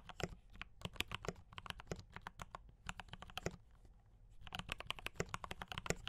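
Fingertips type on a mechanical keyboard with brown switches and cream and red plastic keycaps, making quick, sharp clicks with bright, short transients and a low thud beneath. The typing comes in bursts with a brief pause near the middle, and each keystroke dies away almost instantly.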